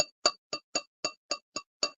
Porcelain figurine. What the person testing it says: it's not giving me the thud the dreaded thud but there is a deep craze line on the interior